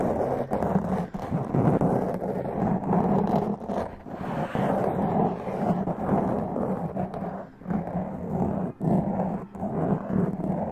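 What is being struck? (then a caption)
Foam microphone windscreen. Long press-on nails scratch a black foam windscreen on a large condenser microphone, making a dense, continuous, muffled rasping scrape with a low, rumbling body and little bright content. The scratching runs almost nonstop for about eleven seconds, with brief dips in level between strokes.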